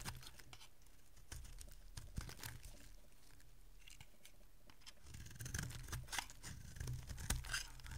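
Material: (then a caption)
Soap. A solid, dry yellow soap bar held in one hand is shaved with a small metal blade, and crumbly curls break off it. Quiet scraping runs through the clip as dense, brief crackling and crunching ticks with a low rumble beneath. The cutting grows louder and busier in the second half.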